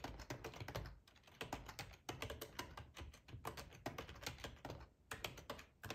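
Fingertips of both hands type on a full-size black plastic ergonomic split keyboard resting on a cloth tablecloth. Quick, dry clicks and taps come in bursts with brief pauses, each keystroke short with almost no ring. The clatter has a soft low thump beneath brighter clicky tops.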